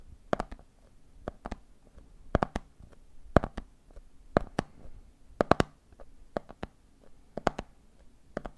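Fingertips tap the red plastic screw lid of a medium, clear, hollow plastic jar full of peanuts in a rhythm while the other hand holds the jar. There are 23 short, dry clicking taps, falling mostly in quick clusters of two or three with brief pauses between groups. Each tap is bright with a dull low knock beneath it and dies away almost instantly over a quiet background.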